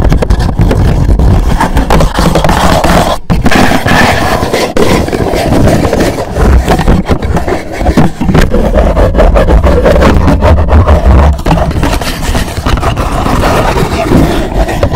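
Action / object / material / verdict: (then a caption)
scrape / rigid cardboard gift box / cardboard / none. Fingers scratch and tap behind and on the sides of a black rigid cardboard gift box standing upright and hollow. The result is a loud, continuous, rough scraping with quick tapping, and a deep, boomy low resonance carries through with little high-end sparkle.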